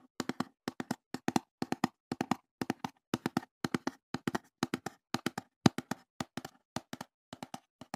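Fingertips tap and handle a small, hollow, empty brown corrugated cardboard box held beside the microphone. The taps come in quick bursts of two or three, each a dry, hollow knock with a low-mid body and a brief papery brightness, and they die away almost instantly. Short silent gaps separate the bursts for the whole clip.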